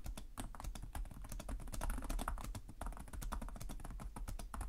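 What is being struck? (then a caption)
Plastic laptop keyboard. Fingertips with short nails type continuously on the plastic chiclet keyboard of a black laptop resting on a desk. Rapid, short key taps click one after another with almost no ring, over a steady low rumble that carries most of the energy.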